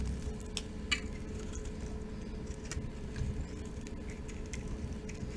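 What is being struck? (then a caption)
Soap bar shaved with a metal blade. A rectangular solid cream-coloured soap bar with pink, red and green glitter on top is held in the palm and scraped and shaved with a metal utility knife blade, so flakes fall off. Soft, dry scraping and small bright ticks are heard over a steady low rumble, with a sharper scrape standing out near the one-second mark.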